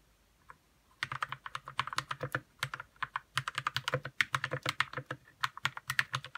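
Fingertips type on a white 60% RK61 mechanical keyboard with plastic keycaps and lubed red switches. After a single faint tap, a steady run of quick, crisp clacks begins, each short and bright, with a soft low thud under the keystrokes.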